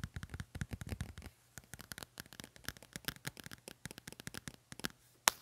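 Fingertips and nails tap and scratch the glossy card cover of a medium pink paperback book with gold print, held solid in one hand. A quick, dense run of soft, dry, bright clicks and scrapes follows, with a brief pause early on and one sharper, louder tap just before the end.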